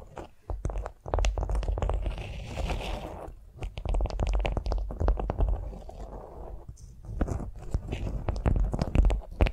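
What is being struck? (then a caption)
Beeswax-coated cotton wrap on a vinyl mat. Long nails tap and scratch a flat beeswax-coated cotton food wrap lying on a vinyl mat. The result is a dense, irregular run of short crinkly, crunchy taps and scrapes with a heavy low thump, broken by brief softer scratching stretches and no voice.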